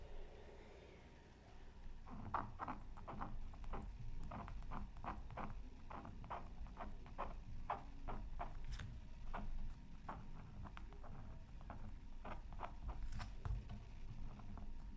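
A wooden stylus scratches repeated short strokes into a flat, black-coated scratch art paper sheet from a Mythical Creatures Super Scratch Art Pad, resting on a silicone mat. Quick, dry scratchy strokes come in a steady, uneven rhythm over a low, muffled background, each one short and fading almost at once.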